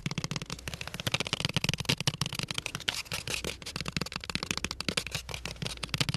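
Fingertips and nails rapidly tap and scratch a small brown cardboard crayon box with a window, hollow and partly full of crayons. The result is a dense run of short, dry, papery clicks and scrapes, bright around 3 kHz with a soft hollow low thump under them and almost no ring after each hit.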